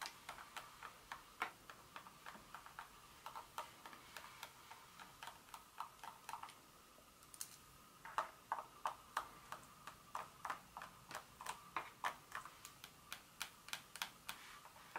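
Long fingernails on both hands tap the segments of a solid dark chocolate bar lying on foil on a carpet. About 45 quiet, dry clicks with a mid-pitched knock near 880 Hz and a bright edge come at roughly three per second in an uneven rhythm, with a brief lull near the middle. Each tap dies away almost instantly.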